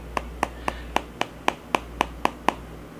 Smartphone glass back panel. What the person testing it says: it almost sounds kind of like Hollow